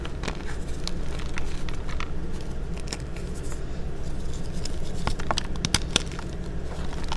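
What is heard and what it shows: Large star-shaped pastel gym chalk slabs of solid, crumbly magnesium carbonate sit in a white tub and are broken and crushed into pieces with fingertips and short nails. Irregular dry cracks, snaps and crumbly crackles sound over a steady low hum, with a few sharper bright snaps near the end.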